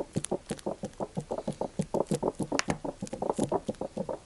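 Fingertips tap and crinkle a large clear PET plastic sunflower oil bottle with a green cap, partly full of yellow oil, held in the hands. About 21 quick, soft, dull taps come in a steady patter, each dying away almost at once. A few bright, crisp crinkles of plastic sound among them.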